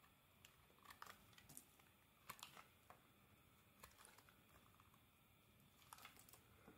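A metal blade scrapes curled shavings off the edge of a solid cream soap bar held in hand. The result is a quiet series of short, dry, crisp scraping and crackling strokes with a bright edge, scattered irregularly over a soft, steady background hiss.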